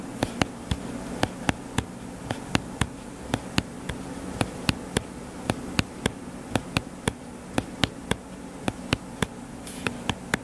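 Fingertips tap quickly on the cover of a closed, solid paper hardcover book lying flat. About thirty short, dry taps with very brief decay sound at an uneven pace over a steady low buzzing hum.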